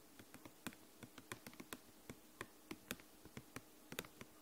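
A thin, flexible, translucent purple plastic snap folder is tapped and scratched with long nails close to the microphone. About eighteen quiet, sharp clicks come at an uneven pace, each bright and dying away almost instantly over a faint steady background.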